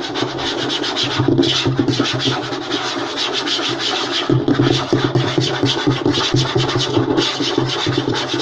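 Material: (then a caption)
Wood. Fingertips and short nails of both hands rapidly scratch and tap across a flat, light wooden tabletop. The result is a continuous, dense rasping texture, bright and papery on top with a woody body underneath, and a flurry of quick taps runs through it at a steady, fairly loud level.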